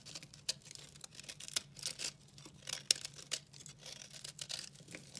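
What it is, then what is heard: Dry soap bar. A solid, dry pink soap bar is scraped and cut with a red-handled utility knife, crumbling into flakes. Quiet, bright, dry scraping and crisp crunching ticks come in quick irregular bursts, with a faint low hum underneath.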